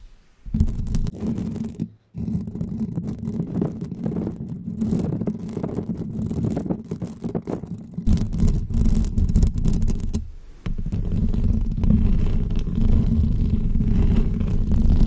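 Long fake press-on nails scratch the hollow metal mesh grille of a bare pink condenser microphone, producing a dense, rumbling scrape that sits mostly in the low end with a steady hum-like tone. The rasping runs almost continuously, breaking off briefly near 2 seconds and dipping quieter around 10 seconds before resuming just as thick.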